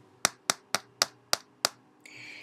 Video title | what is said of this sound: My Dr. Scholl's® Active Series® Review (Compliments of Influenster.com) | it's made of like really hard plastic